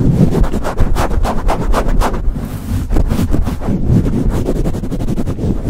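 Fingertips swirl over and squeeze a soft, hollow black foam windscreen on a microphone, patting it with a flat hand. The result is a loud, muffled, deep rumble with a rapid string of soft, boomy thumps, a brief smoother rustling swirl in the middle, then more quick pats.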